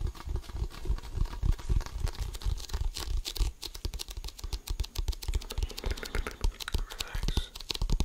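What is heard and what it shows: Fingertips scratch and tap the pebbled composite surface of an inflated, hollow composite leather basketball, heard close-up. A rapid, irregular stream of dull, low thumps mixes with dry, bright scratching streaks. Each tap dies away almost instantly.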